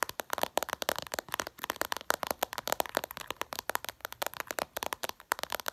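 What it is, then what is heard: Glass phone screen tapped with nails. Long purple nails tap rapidly and aggressively on the glossy glass screen of a smartphone lying flat. About 35 sharp, dry clicks are heard in quick, uneven bursts. Each click is bright and crisp, with almost no low end, and stops instantly without ringing.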